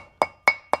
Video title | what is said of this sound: Replacing front brakes and wheel bearings on a 1992 F-150. Jo Daddy's garage. | get to a sharp type of sound whenever it's bottomed out. That's from the hammer making contact with the rotor assembly.